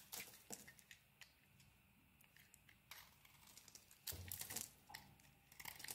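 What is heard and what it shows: A utility blade scrapes a hand-sized, solid pink-coated soap bar with a white inside, held in the palm, shaving off crumbly white shavings. Soft, dry, bright scraping and crinkly crumbling come in short bursts, separated by quiet stretches, with the strongest strokes near the end.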